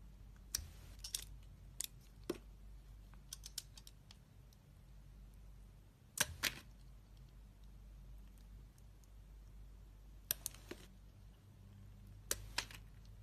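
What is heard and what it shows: A hand-sized bar of solid, translucent red glycerin soap is shaved and cut with a utility-knife blade. Short, sharp, bright clicks and crisp snaps arrive in scattered clusters over a steady low hum. Each cut dies away almost instantly.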